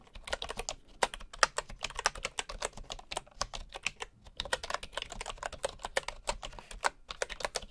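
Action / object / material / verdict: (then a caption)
tap / bamboo wooden keyboard / bamboo / none. A hand types with its fingertips on the wooden keys of a bamboo keyboard, with a bamboo mouse resting nearby untouched. Rapid, steady, short dry clacks with a bright edge run throughout, broken by a few brief pauses.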